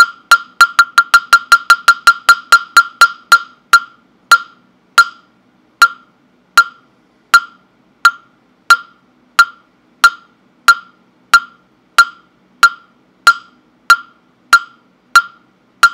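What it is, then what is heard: Wooden fish block (mokugyo). A hollow round wooden mokugyo fish block with a slot opening, held in the hand, is knocked with a round-headed wooden mallet. It gives 34 sharp, dry, hollow knocks with a clear woody pitch around 1.4 kHz and almost no ring. The knocks come quickly at first and then gradually slow to a steady, spaced beat.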